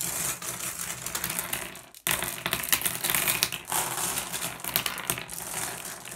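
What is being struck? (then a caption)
Small glass gem pebbles. Fingertips push small, solid blue glass gem pebbles around, then a hand scoops up a group of them. The result is a dense, bright clicking and clinking of glass on glass, with a brief pause about two seconds in before the rattling resumes and continues to the end.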